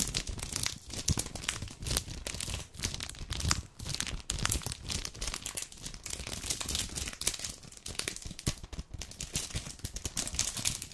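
A full red dark chocolate bar in a plastic-paper wrapper is crinkled and scratched along its edges with long painted nails. Dense, bright crackling and scratchy rustles run steadily throughout, with soft low thumps underneath.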